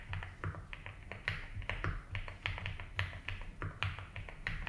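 A compact 75% mechanical keyboard with a blue case and white and blue ABS keycaps is typed on slowly by fingertips. Irregular clacky keystrokes carry bright clicks over a deep, thocky low body, each decaying quickly into quiet gaps.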